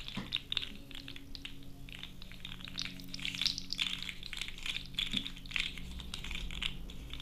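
A hand-length, blue, hollow, segmented plastic fidget slug toy is held in both hands while fingertips and long orange-painted nails squeeze, twist and rub its segments. Dense, bright clicking and crunching rattles on continuously over a faint low hum.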